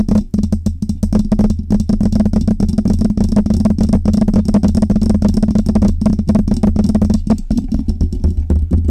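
Long red nails scratch and tap rapidly on the metal grille, body and side knob of a metal USB microphone, a Blue Yeti. Quick, dry clicks and scrapes come close together over a steady low hum, with very little ring after each tap.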